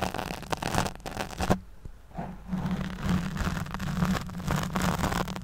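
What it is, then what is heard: Foam microphone windscreen being scratched. Long nails scratch the back and side of a black foam windscreen over a studio microphone, producing a dense, crackling rustle with a low, steady hum near 188 Hz underneath. The scratching briefly drops away around the two-second mark, then returns as a continuous scraping texture until the end.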